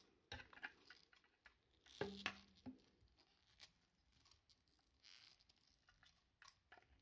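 A thin, solid, coiled white PVC lamp cable with plastic sheathing is held in both hands while the fingers rub and unwind the coils. This makes a quiet, irregular patter of soft scuffs and small crisp ticks, with a couple of sharper, louder clicks around the two-second mark. Each sound is short and dry with almost no ring, and the sound is mostly bright with little low end.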